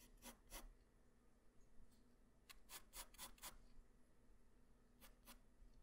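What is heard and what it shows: A graphite pencil tip draws facial lines on a flat white paper sheet, making short, bright scratching strokes. The strokes come in three quick clusters separated by quiet pauses, over a low, steady background hum.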